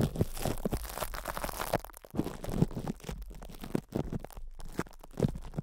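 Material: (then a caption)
Plastic film. Hands cup and squeeze a cling-film-wrapped metal microphone head while fingertips rub the crinkled plastic. The result is a dense run of close, low, muffled crinkling and crunching with soft bumps and brief quieter gaps.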